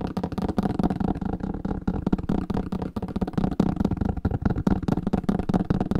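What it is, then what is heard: Old book. Fingertips tap fast and continuously on an old paper book, producing a dense, slightly uneven stream of short, dull knocks. The taps are low and papery, centered around 195 Hz, with almost no bright content, and each one dies away almost instantly.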